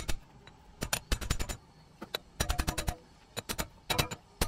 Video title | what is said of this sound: Front Wheel Bearing Replacement (3rd Gen Toyota 4runner & 1st Gen Toyota Tacoma) | you hear that solid sound and it's not driving it any further you know you're fully seated